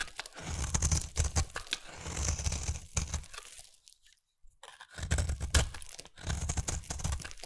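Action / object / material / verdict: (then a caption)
scrape / bar of soap shaved with a knife blade / soap / none. A hand-held, solid round peach-coloured bar of soap is shaved along its edge with a utility knife blade, peeling off curls. Dense, crunchy scraping and tearing strokes with a heavy low thud run in quick bursts, stop for about a second of near silence, then resume in the same rhythm.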